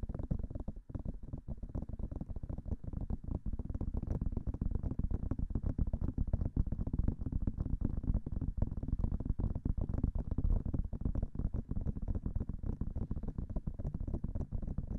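Long fingernails rapidly tap the hollow white silicone ears of a binaural microphone. The result is a dense, continuous stream of soft, muffled low thumps with almost no high end, each tap dying away almost instantly and the pace steady throughout.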